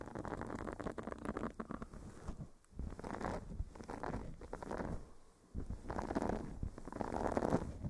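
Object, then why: Silicone scrubber pad. A solid, flexible blue silicone face scrubber pad is pressed onto a fluffy microphone cover and scratched and rubbed with fingernails and fingertips. The result is a dense, muffled, low crackling scrape that comes in waves, with brief dips in level near the third and sixth seconds, and almost nothing in the high range.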